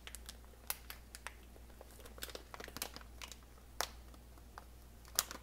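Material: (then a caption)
Plastic. A clear plastic retail bag, about 2 lb and full of dry brown basmati rice, is held in both hands and squeezed and crinkled with the fingertips. Short, bright crinkles and crackles pop up at irregular intervals, with a few sharper snaps standing out. A steady low hum runs underneath throughout.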